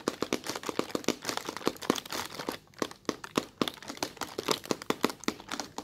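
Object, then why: Thin plastic film bag. A large, soft, translucent white plastic bag of thin film sits loosely filled and bunched on a table while red-polished fingertips with short nails press and scratch at it. The result is a dense run of sharp, dry crinkles and crackles with bright high hiss, and a brief quieter lull just before the three-second mark.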